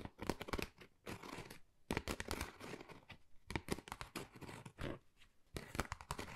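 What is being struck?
Textured cardboard folder.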